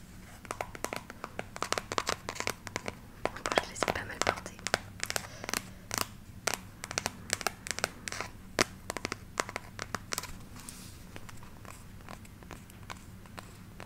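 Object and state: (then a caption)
Velvet block-heel shoe. A single hollow, empty burgundy velvet block-heel shoe is held close to the microphone while long nails scratch and tap its dark rubber sole and heel tip, then its velvet upper. Many rapid, dry clicks and scratchy crinkles with no ring stand out over a low steady hum, with several sharper taps louder than the rest.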